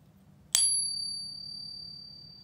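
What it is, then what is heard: Genuine fine silver coin, long ring. A .999 silver Britannia bullion coin from the Royal Mint is pinged, giving a bright, high metallic ring with clear tones. The ring sustains for a long time and is still fading at the end of the clip, and the coin sounds like genuine silver.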